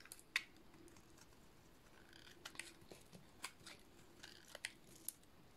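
A metal blade shaves curls from a solid, white, rectangular bar of dry soap. Quiet, crisp scraping crackles are broken by a series of sharp, bright clicks and snaps as the white curls peel away.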